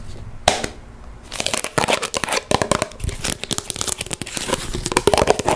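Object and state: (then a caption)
Plastic Play-Doh tub tapped and scratched. A yellow Play-Doh tub with a pink plastic lid, held in the hand and likely full, is tapped and scratched on its lid and sides with long nails. Quick, crisp plastic clicks and dry scratching come in rapid bursts after a brief quiet start, with a short, dull ring.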